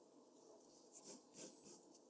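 A mechanical pencil held in the fingers shades a figure on a large flat sheet of white drawing paper lying on a desk, its graphite tip scratching and rubbing across the paper in continuous strokes. The result is a quiet, steady, bright rasp, with a few louder, brighter swells of scratching partway through.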